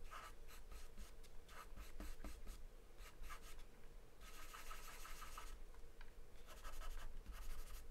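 A graphite or charcoal pencil held in the hand scribbles and scratches across a large white paper sheet taped flat to a dark surface, scribbling and shading. Quick, bright, scratchy strokes come in bursts, with longer stretches of continuous shading near the middle and end. A steady low hum sits underneath at a quiet overall level.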